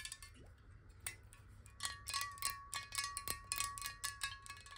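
Long fingernails tap quickly on a glass water bottle partly filled with water, making a quick, irregular run of bright clicking taps. Each tap leaves a short ringing tone near 1.1 kHz, and the pitch shifts slightly as the water moves inside.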